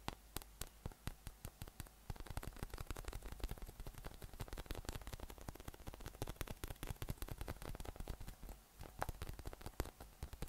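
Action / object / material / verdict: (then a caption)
tap / inflatable PVC massage ball with nubs / PVC / none. A hollow, air-filled yellow inflatable PVC massage ball with nubs is held up in one hand and tapped from below with fingertips. The result is a rapid, uneven run of soft, dull, short taps over a steady low hum and faint static hiss.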